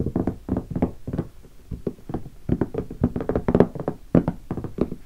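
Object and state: Hollow hardshell guitar case.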